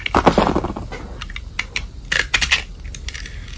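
A metal utility blade scrapes the silver glitter crust off a solid, palm-sized white soap bar. Dense, crunchy scraping fills the start, followed by short, bright crackling strokes that die away almost instantly over a low background hum.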